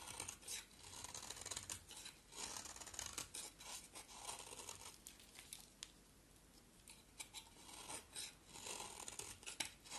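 An oval, solid yellow bar of soap is shaved with a box cutter blade in scraping strokes. Each stroke makes a quiet, dry, bright rasp with little low end, in repeated bursts with short pauses between them.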